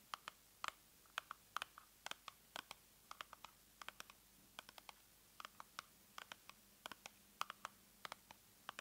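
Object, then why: Small cardboard box. Long nails tap and scratch a small, hollow, pink printed cardboard box held over the open box. About 39 quick, dry clicks and scrapes come in irregular bursts over a quiet background, each dying away almost at once. The sound is bright and papery, centred around 1.2 kHz, with almost no low end.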